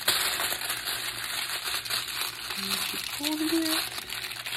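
A thin sheet of aluminum foil, held in both hands with long painted nails, is crumpled, squeezed and twisted into a rope-like coil for making a rain stick. A dense, bright crinkling and crackling runs continuously throughout, with brief faint tonal chirps partway through.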